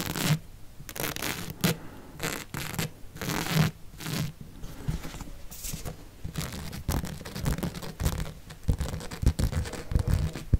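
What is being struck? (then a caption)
Hardcover paper book. Fingertips and nails tap the page edges and glossy back cover of a red and pink hardcover paper book. The result is a run of soft, dull taps and brushing scratchy swishes that are mostly low in tone, with short brighter rasps and almost no ring.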